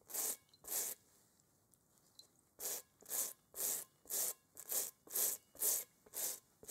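A small bristle brush is scrubbed back and forth over a large, hollow, inflated rubber kickball with a textured surface, held in a gloved hand. About a dozen bright, hissy scratching strokes are heard, with a pause after the first two, then a steady rhythm of roughly two strokes per second. Each stroke is a short rasp that ends quickly.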